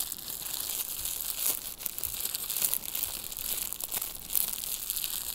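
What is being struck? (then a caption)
Thin plastic wrapper. A small clear crinkly plastic wrapper is crumpled and squeezed between fingertips with long nails. The result is a steady, bright crinkling and crackling, with dense sharp snaps and almost no low end.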